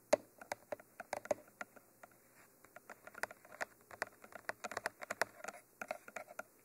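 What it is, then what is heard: Binaural microphone body tapped with fingernails. Long manicured nails tap and scratch across the top of a Mitra 3D Pro binaural microphone, a mid-sized hollow cylindrical tube with a textured black coating and white end cages. About thirty quick, dry clicks land in an uneven patter, each dying almost instantly, with a hollow midrange knock and a faint bright scratchy edge.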